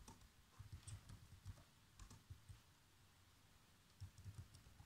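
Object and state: Plastic laptop keyboard being typed on.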